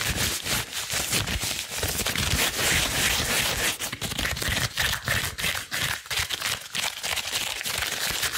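Long blue rubber gloves worn on both hands are rubbed and pulled against each other at the fingers and wrists. The result is a steady, bright, crinkly rubbing and squeaking that rises and dips in quick, uneven bursts throughout.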